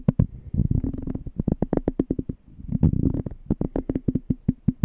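A small, clear, empty glass jar with a threaded rim and a pink label is held on its side while short-nailed fingertips tap and scratch its glass bottom and rim. A quick series of dull, low knocks dominates, with scratchy rustling between them. Each tap dies away almost at once.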